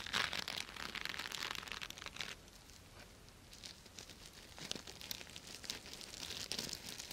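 Long nails scratch and rub back and forth over the plastic sequins of a purple sequin-covered fabric cosmetic bag held in one hand. This makes a bright, crinkly, rustling scrape in quick bursts. It goes quiet for a moment in the middle, then picks up again.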